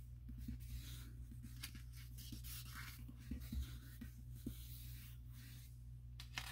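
Fingertips rub and trace along the glossy paper pages of an open catalog showing a bedroom spread. Soft, bright swishing and scratchy paper strokes come in irregular bursts over a steady low hum, with a few faint taps. The sound stays quiet and close throughout.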